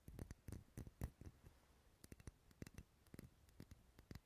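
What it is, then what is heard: Wax pillar candle tapped with fingernails. Fingernails tap the side of a lit, dark red solid wax pillar candle held close to the mic. The result is a quiet, irregular series of short, dull taps, mostly low and muffled with faint bright clicks, each dying away almost instantly.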